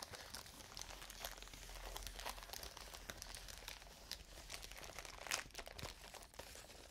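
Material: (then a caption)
Plastic. A large clear plastic bubble wrap sheet is scratched and rubbed with fingernails close to the microphones. It gives a steady, dense crinkling with bright, crisp scratches and a sharper crackle near the end, over a faint low hum.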